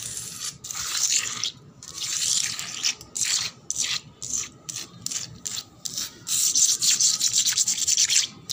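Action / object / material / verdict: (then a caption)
scrape / painted concrete floor / concrete / none. Long black nails scratch and rub a solid, wet painted concrete floor in quick, irregular strokes. Each stroke is a bright, hissy scrape with almost no low end, with longer sustained rubs at the start and end and short choppy bursts in between.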